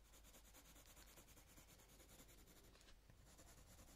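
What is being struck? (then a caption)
Coloured pencil on a paper page. A light green coloured pencil shades a leaf on a paper colouring book page in repeated rubbing strokes. The result is a quiet, steady scratchy rub with a bright, grainy texture and a faint low hum underneath.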